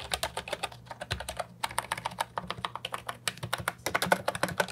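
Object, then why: Plastic mechanical keyboard with round keycaps. Fingertips type continuously on the round keycaps of an Ajazz 308I, a brown and white plastic retro mechanical keyboard with a hollow body, resting on a wooden desk. About 36 quick, sharp clicks with bright, clattery tops land in an uneven stream, each dying away almost at once, with a faint low thud under some strokes.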